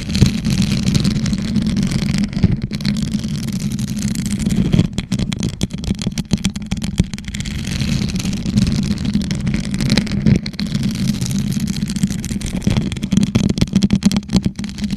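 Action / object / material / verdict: scrape / rhinestone-studded plastic tumbler / plastic / none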